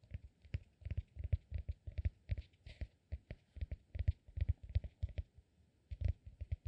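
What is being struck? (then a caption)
Cork peanut-shaped massage ball. A hand-sized, solid, peanut-shaped cork massage ball is held in one hand while the other hand's fingertips tap and scratch its surface. The result is a quiet, uneven run of soft, dull thuds with very little ring, in quick clusters and short pauses, with faint brighter scratching between taps.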